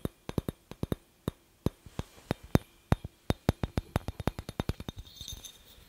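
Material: Glass.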